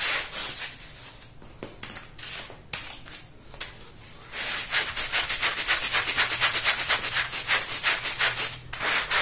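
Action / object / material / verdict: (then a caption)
scrape / woven fabric rug scrubbed with a plastic-bristle brush / fabric / none. A long-handled plastic-bristle brush scrubs back and forth across a small, muddy, floral woven fabric rug that is wet and foamy on a tile floor. At first there are quieter, scattered bristly swishes, then a steady run of loud, bright, hissing scrubbing strokes.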